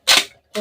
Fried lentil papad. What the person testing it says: छान असा कुरकुरीत आवाज येतोय एकच नंबर पापड तयार झालेले